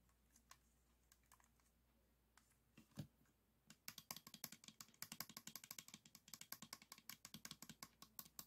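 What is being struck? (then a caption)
Plastic puzzle cube. A 3x3 plastic speed cube is held in both hands while fingertips and short nails repeatedly tap the tiles on different faces. A few scattered, quiet taps over a faint steady low hum give way after about four seconds to a fast, continuous run of sharp, bright plastic clicks that stop almost instantly.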